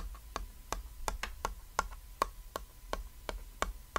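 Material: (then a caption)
Board. A small, flat, cat-silhouette chalkboard, a thin solid board with chalk writing lying on red fabric, is tapped with a fingertip and a short nail. About a dozen short, dry clicks sound at an uneven pace of roughly three per second, each with a faint tonal ping near 1.1 kHz that dies away almost at once. A low rumble sits underneath throughout.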